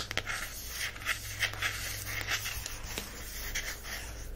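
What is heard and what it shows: Long-ish fingernails scratch and tap across the glossy printed cardboard cover of a small, solid, closed miniature hardcover paper book, "The Coffee Table Book of Coffee Tables," held in one hand over a fleece blanket. Soft, bright scraping fills the upper range, with brief, quiet tap peaks rising over a steady low hum.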